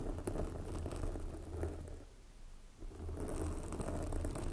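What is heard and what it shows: Long glossy black fingernails on both hands scratch a soft, porous red foam windscreen covering a microphone. The result is a dense, low, rumbling crackle with a faint higher fizz. It fades almost to quiet around the middle, then returns at full strength.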